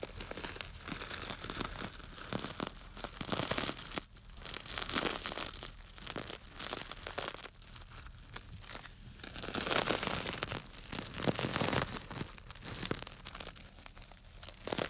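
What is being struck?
Plastic bag of small dry grains.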